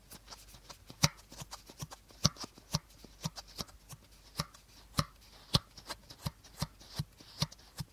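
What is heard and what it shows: Short fingernails tap and scratch the body of an empty, hollow clear plastic bottle held upright by its teal cap end. The result is an irregular run of sharp, dry taps, each pairing a hollow low thump with a bright click that dies away almost at once, with soft scratchy rustling between them.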